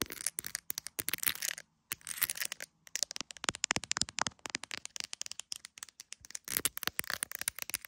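An iPhone in a clear plastic case with resin gummy bears has its camera bump and case tapped and scratched by long nails. Rapid, bright, sharp clicks and crackly scratches follow one another in dense bursts, each dying away almost instantly, with a few brief pauses between runs.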